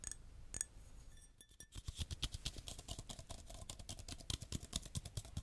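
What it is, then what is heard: Glass tapped. Glass being tapped, with rapid, bright clinking taps in quick succession, some softer and some sharper, over a low background rumble. Each tap dies away almost instantly, with no lingering ring.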